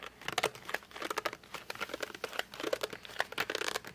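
Fingertips grip, rub and drag across the glossy front of a flat cardboard colored pencil box. The result is a rapid series of short squeaky, crinkling scrapes with tonal squeaks around 730 Hz and bright texture on top. Each scrape dies away almost at once.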